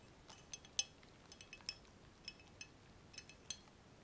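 Fingertips and nails tap along a long, hollow, empty clear glass laboratory tube adapter with frosted ground-glass joints at both ends, resting on bubble wrap. About ten quiet, irregular, bright glassy clinks are heard, each very short with almost no ring, over a faint background hiss.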